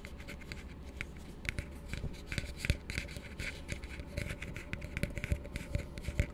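An empty, hollow blue plastic tumbler, held upside down, is tapped and scratched with fingertips and nails. The result is a run of quick, dull taps with bright clicky edges and scratchy rubbing, all over a steady low hum.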